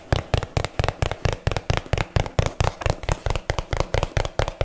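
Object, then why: Small cardboard box. A small, hollow, rectangular yellow printed cardboard box is held in the hands and tapped with long fingernails and fingertips. There are 22 quick, slightly uneven taps, each a dull, low hollow thump with a brief bright click from the nails. Every tap dies away almost instantly.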